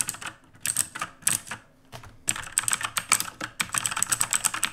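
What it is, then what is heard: Mechanical keyboard with plastic keycaps. Both hands type rapidly with their fingertips on a full-size backlit mechanical computer keyboard with plastic keycaps and a dark housing, resting on a wooden desk. Bursts of fast, crisp, bright clicks and clacks are heard, with brief pauses in between.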